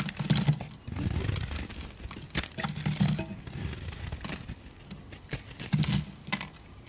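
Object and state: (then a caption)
Bar soap being shaved with a knife. A solid, rounded, hand-sized yellow bar of soap held in the hand is shaved and scraped with a utility knife blade, curling off thin strips. Soft, crinkly scraping strokes come in irregular bursts, with brief sharp clicks of the blade and a low, muffled body under a faint high hiss.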